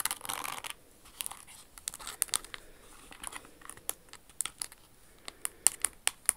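Long acrylic nails scratch and tap a hollow red crystal-studded Jimmy Choo stiletto pump with a red crystal flower toe, held in the hands. A brief dry, crinkly scratching burst opens the clip. It is followed by quiet, bright, sharp clicks and ticks that die away instantly.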